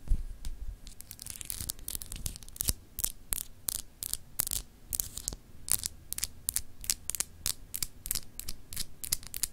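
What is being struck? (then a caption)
Solid glass globe paperweight. Long acrylic nails scratch across a palm-sized solid clear glass globe paperweight with textured etched continents. Quick, bright, raspy strokes follow one another in an uneven rhythm over a low, steady hum. Each scratch ends almost at once, with no ringing.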